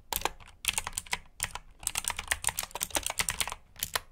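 Fingertips from both hands type on a black mechanical keyboard with plastic keycaps resting on a carpet-like mat. Quick, bright clicky keystrokes come in bursts with short pauses between, each snap dying almost instantly.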